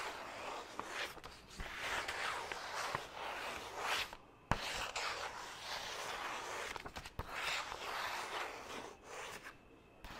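Fingertips and nails scratch and rub the surface of a single white printer-paper sheet held upright. A steady, broadband papery rustle and scratch rises and falls in waves, broken by a few sharp taps and brief quiet gaps.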